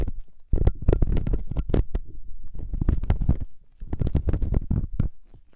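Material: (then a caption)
Silicone. A metal loop ear pick held by fingertips scratches inside the ear canal of the soft, solid silicone ear on a 3Dio binaural microphone. It makes dense, close, low rumbling scrapes with sharp, bright crackling ticks, in two busy bursts separated by a brief pause.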